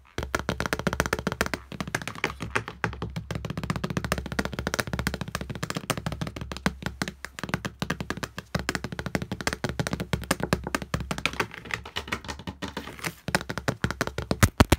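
Fingernails and fingertips of both hands tap rapidly across the surface of a flat glass wall mirror. The result is a dense, continuous stream of short, dry taps and clicks, with a low thudding body under brighter nail ticks and almost no ring. There is a brief lull near the end before the tapping resumes.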